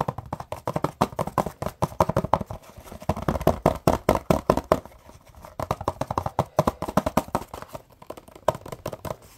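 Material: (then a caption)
Cardboard. Fingertips and nails tap and scratch a small, hollow printed cardboard box with an open flap. The result is a rapid, uneven run of dull, hollow knocks and soft scrapes with a papery midrange tone around 620 Hz. Each tap dies away almost at once, with a brief pause partway through before the tapping picks up again.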